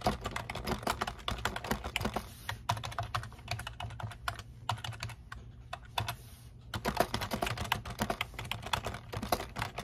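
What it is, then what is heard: Plastic computer keyboard. Fingertips type rapidly on the keys of a black plastic computer keyboard resting on a desk, producing a dense stream of short, sharp clicks and clacks. The typing briefly thins out midway before picking back up into quick bursts, with a low hum underneath throughout.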